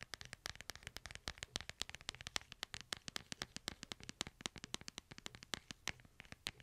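Fingernails tap and scratch the hard plastic back and sides of a smartphone held upright in a light plastic case. Dozens of quick, dry, bright clicks come in an uneven rapid patter, each dying away at once, with soft scratchy rustling between the taps.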